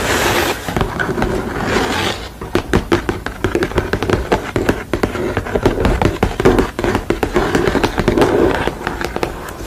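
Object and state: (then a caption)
Painted canvas panel. Long nails tap and scratch the textured painted surface of a sugar-skull painting on a stretched canvas with a painted red frame edge. A soft, hissy scratching opens the clip, then gives way to a dense run of quick, crisp taps with a muted, low body and short decays, mixed with brushing scrapes.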